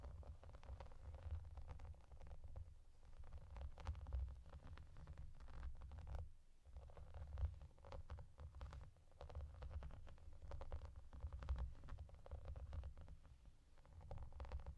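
Long dark-painted fingernails on both hands scratch and tap a flat, clear translucent vinyl/plastic bathmat covered in small raised hollow bubbles and yellow duck shapes, lying on a table. The sound is a steady stream of soft, dense, quick taps and scratchy patter with a low, muffled thump and almost no ring.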